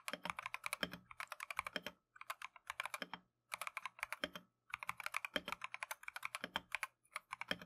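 Gloved fingertips type continuously on a plastic Keychron V1 mechanical keyboard with Tangerine switches and green/cream PBT keycaps. Fast, bright, clacky keystrokes come in quick bursts separated by short pauses, each tap dying away almost instantly over a faint low hum.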